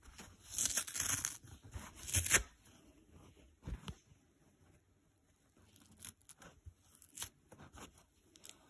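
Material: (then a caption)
Foam, nylon. The green nylon scour layer is peeled and ripped off a dry yellow foam sponge with fingers and short nails. Crisp, bright tearing bursts are loudest in the first two and a half seconds, followed by quieter, scattered scratchy rips.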